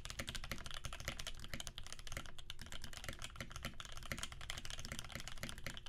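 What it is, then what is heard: Mechanical keyboard with PBT keycaps. Fingertips of both hands type rapidly on a Percent Canoe 65% mechanical keyboard with a clear acrylic case, aluminum plate and cream PBT keycaps. A fast, steady stream of clacky keystrokes with a low thocky body and bright clicky tops runs without pause.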